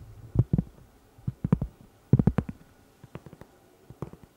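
Long red nails tap and scratch a round, flat, solid cork pot holder about 20 cm across, held beside the mic. Soft, dull, low thuds come in irregular clusters, with almost no ring and no bright edge, fading quieter toward the end.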